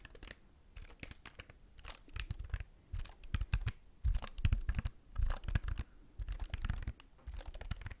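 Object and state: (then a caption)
Plastic computer keyboard, keys tapped. Fingertips tap and press the plastic keys of a slim white computer keyboard held at angles close to the microphone. The result is irregular bursts of short, dry clicks with bright upper edges over a low thump, separated by brief quiet gaps.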